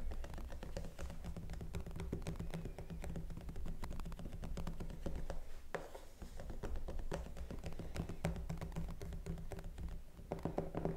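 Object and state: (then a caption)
Vinyl mannequin head. Long pink-painted nails and fingertips tap rapidly over the cheeks and temples of a life-size hollow vinyl/plastic cosmetology mannequin head, which wears a long black synthetic wig and is held in place. The result is a dense, continuous patter of short, dull clicks and taps with a faint hollow tone around 390 Hz. A steady low hum runs underneath throughout.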